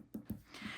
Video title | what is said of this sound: Fun with UV activated resin! Cary Quilting Company, 4/30/24 | if I tap on them right there hopefully you can hear that they are literally hard plastic at this point